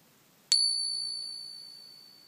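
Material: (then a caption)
Silver. A genuine silver crown coin, balanced on a finger and tapped once for the ping test, gives a single bright strike. It rings out with a long, high, bell-like tone that fades slowly over about two seconds, the ring expected of real silver.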